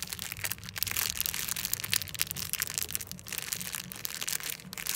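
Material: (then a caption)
Plastic foil. A small, flat, blue-and-white printed Crest plastic foil packet is squeezed and crinkled in one hand by fingers with long lilac-painted nails. It gives a continuous, bright, crackly crinkle, mostly high-pitched, with many quick sharp snaps and almost no low end or ring.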